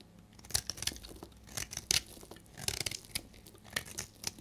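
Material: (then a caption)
Soap. A solid, dried amber soap bar held in the hand is scraped and shaved with a utility blade. Short, dry, bright scraping and crackly shaving strokes come in irregular bursts, each stopping almost instantly with no ring, over a faint hiss.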